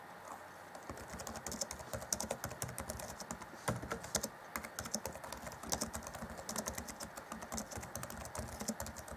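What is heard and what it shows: Fingertips of both hands rapidly tap the black plastic chiclet keys on the keyboard of a 2014 Acer Chromebook C20 laptop. The result is a steady stream of short, dry clicks with bright, crisp tops and almost no ring.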